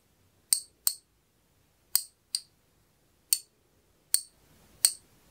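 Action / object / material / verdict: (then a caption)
tap / brass watch movement / brass / none. A small, flat, round antique brass pocket watch movement is held up in the fingers, turned, and tapped with a thin metal pick. Seven separate bright, high-pitched metallic clinks sound, each dying away quickly, with quiet gaps between them.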